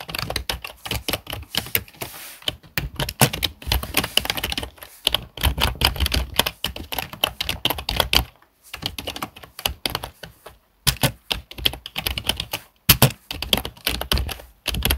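A full-size black plastic HP keyboard with hollow key switches, lying on a wooden desk, is typed on with the fingertips of both hands. Rapid, clicky keystrokes come in bursts separated by brief pauses, with a bright, hollow clatter and short, dry decays.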